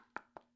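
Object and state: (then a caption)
Hollow plastic dummy phone. Three quick, dry taps on a hollow 3D-printed plastic mock-up of the Galaxy S26 Ultra give short, light clicks centered in the mid range with almost no ring. The taps sound hollow, as the dummy holds nothing but perhaps some styrofoam or packing paper and lacks the weight of the real phone.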